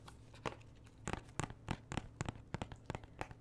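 Fingernails scratch and tap across the cover sleeve and edges of a thin, hollow plastic Xbox 360 game case for Mass Effect held in the hand. The sound is a quick, irregular series of short, dry crackling scratches with faint low hollow knocks beneath them.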